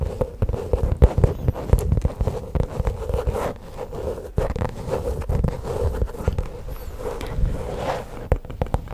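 Long pink acrylic nails scratch and tap across a flat, hollow, black padded faux leather pouch held close in front of the mic. The result is a dense, continuous run of dull, muffled scratches and short soft taps that die away instantly, heavy in the low end with a steady midrange hum-like band near 500 Hz. Sharper clicks stand out now and then over the scraping.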